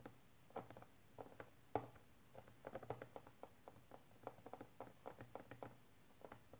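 A small, hollow, clear plastic storage case with wrapped contents is held upright on a table with both hands and tapped on its sides with fingernails. Quick, dry, irregular clicks and taps patter across the clip, each dying away almost instantly, with a soft, mid-pitched hollow knock.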